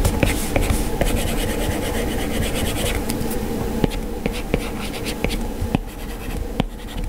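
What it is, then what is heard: Stylus scratching on a glass touchscreen. An Apple Pencil's plastic tip scratches across an iPad's glass touchscreen during colouring strokes. A steady, low scraping rubs underneath, with about eleven short, sharp taps breaking through the texture.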